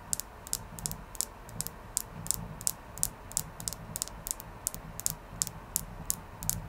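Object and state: Clear quartz crystal tapped with fingernails.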